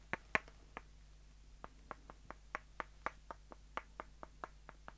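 Two short, solid light-wood dowels, one held in each hand, are tapped together at their rounded ends. The result is a quick series of about sixteen dry, hollow clicks, each very short with almost no ring and a bright, woody tone centered in the midrange. The clicks play over a faint steady background hum.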